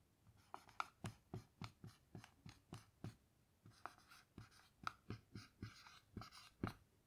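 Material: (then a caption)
Melamine. A black dry-erase marker writes on a small melamine lap whiteboard with a grid surface lying flat, making gliding, scratching strokes. About 19 short, distinct strokes are heard, each a quick squeaky scratch with a low tap underneath and a brighter hiss on some, with brief pauses between them.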